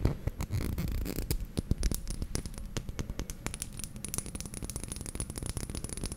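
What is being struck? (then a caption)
Small glass dropper bottle. Fingernails tap and scratch a small dark glass serum bottle with a white dropper cap held in the hands, making a quick, irregular run of short, dry clicks and scrapes. The clicks are sharp with almost no ring, and most of the sound sits low. A faint, steady high-pitched tone runs underneath.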